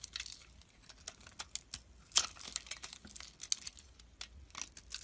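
A metal blade shaves flakes off a solid oval soap bar with a dark red coating and a white core, held in the palm. A quiet, rapid series of short, crisp scraping clicks and crackles sounds, bright and with almost no low end. One louder scrape stands out near the middle.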